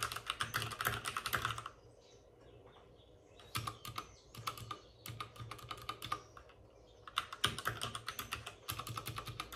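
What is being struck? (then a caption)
Plastic mechanical keyboard. Both hands with short-nailed fingertips tap on a white full-size plastic mechanical keyboard with plastic keycaps and RGB backlighting, resting on a desk with a padded wrist rest. Quick, irregular bursts of sharp, bright key clicks with short clacky decay come in runs. A near-silent pause falls around two to three and a half seconds, then typing resumes and grows denser toward the end.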